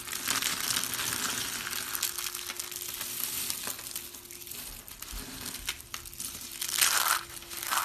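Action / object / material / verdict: scrape / soap shavings / soap / none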